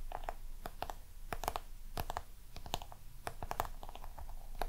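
Long nails scratch and tap the embossed lid and sides of a small round black crocodile-texture box held in both hands. The result is a quick, irregular run of sharp, dry clicks and brief scratchy strokes that die away almost instantly, with a faint mid-pitched tonal ring over a low, steady background rumble.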